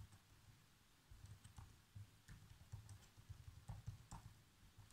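Fingertips type on the black plastic keys of a laptop keyboard, producing a quiet, irregular stream of soft, low, muffled key thuds with faint bright clicking edges. Each keystroke is short and dies away almost immediately.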